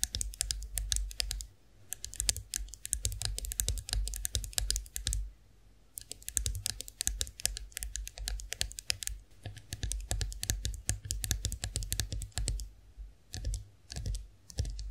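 Long nails on both hands tap rapidly on the smooth handle of a chrome-finished face roller standing upright. The sharp, bright clicks come in quick bursts separated by short pauses, over a steady low hum.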